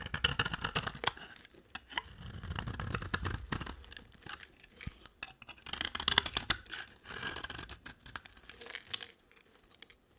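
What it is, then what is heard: Dry bar of soap shaved with a blade. A solid white bar of dry soap is shaved along its face and edge with a utility-knife blade. Crisp, bright scraping and crumbly tearing strokes come in uneven bursts with brief pauses, as thin shavings peel off the bar.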